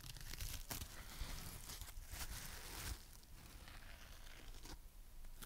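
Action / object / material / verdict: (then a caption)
scrape / foam sponge / foam / none. A palm-sized, dry, porous, soft foam sponge in a heart shape, with rainbow stripes of green, pink, yellow, red and blue on one face and a pale back, is held in one hand. Long painted fingernails and fingertips tap and scratch it. The result is a steady, close, crinkly scratching with a low, dull rumble underneath and brief bright scraping bursts.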